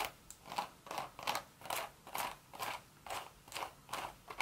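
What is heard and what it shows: Long red nails scratch and tap the hollow crown and side of a cream woven straw hat. A steady run of short, dry, crackly rasps repeats about twice a second, each bright and papery with almost no low end and no ring after it.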